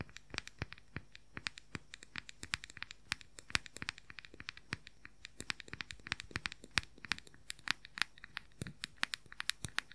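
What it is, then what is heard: Plastic powder compact. A round plastic makeup powder compact with a printed lid is scratched and tapped with fingernails close to the microphone. About 64 short, dry, bright clicks come in a fast, uneven stream, with light scratchy rustling between them and little low end. Each tap dies away almost instantly.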